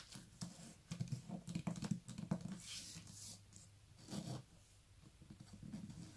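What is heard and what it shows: A hand-sized "Prowlers" paperback book, a solid paper block with a glossy card cover, is held up and tapped on its cover and spine with long nails and fingertips. Many quick, dull taps sound in a soft low-pitched patter, each dying away almost at once, mixed with brighter clicks and light scratches.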